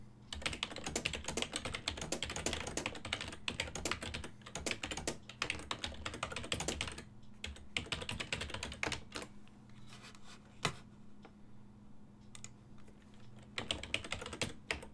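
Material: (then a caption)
Plastic. Fingertips type rapidly on a full-size black and silver plastic desktop keyboard with a hollow housing, producing dense, bright, clacky key taps over a steady low hum. A continuous run of typing fills the first seven seconds, then thins to scattered taps with one sharper click near eleven seconds and a quiet stretch before a final burst of rapid typing.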